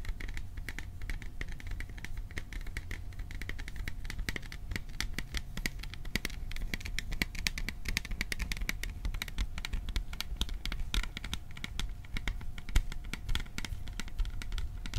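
Fingertips tap fast on the sides of a hollow, cylindrical printed metal popcorn tin held near the microphone. The result is a dense, continuous stream of quick, dry ticks with almost no ring, heavy low thump and bright clicky edges. A faint steady tone runs underneath throughout.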